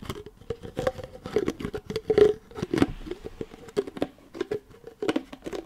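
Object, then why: Plastic pill bottle with a cap. Long nails tap the white cap and body of an amber plastic supplement bottle held close to the mic, and scratch its paper label. Quick, dry clicks and taps come in irregular bursts, mixed with soft scratching and crinkling.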